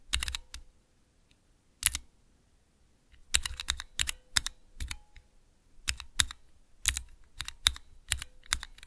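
Fingertips press the keys of a small clear plastic 3x3 Cherry MX mechanical key switch tester, producing sharp, bright plastic clicks and clacks. The presses come in quick, irregular bursts separated by short silences, each one dry, with almost no ring.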